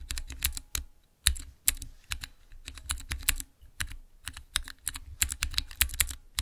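Fingertips press the transparent keycaps of a small clear acrylic Cherry MX mechanical keyboard switch tester in quick, irregular bursts. Each press gives a short, sharp click with a bright top and a low thock underneath, dying away almost at once, with brief pauses between runs of keystrokes.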